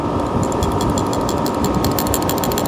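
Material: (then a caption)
Metal. A metal carburetor part, examined while comparing a $43 Amazon carburetor with an OEM Harley CV carburetor, is shaken close up and rattles clearly with rapid, bright metallic clicks over a steady background hum. The rattle is abnormal; the matching part on the other carburetor barely rattles at all.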